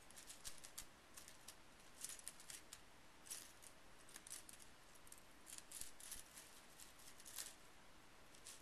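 Fingertips sweep and rake small painted metal scrapbooking brads spread on a bamboo mat. Quiet, bright, light metallic clinks and scattered ticks rise over a soft low rumble, some clusters louder than others.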